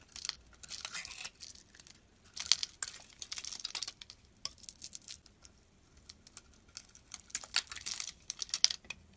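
A solid white soap bar with a blue outer layer is held in the hand and carved into chunks with a metal blade. Bursts of crisp, bright scraping and crumbling crackle come in clusters with quiet gaps between them, with almost no low end.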